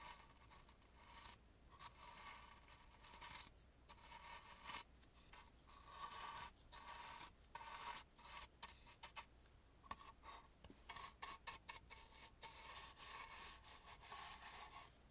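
A bristle brush rubs and dusts the gilded carving on the carved wooden ear or side piece of an antique painted wooden mask. Dry, scratchy brushing strokes come in quick bursts with brief pauses, giving a bright hiss over a steady tone around 1.1 kHz.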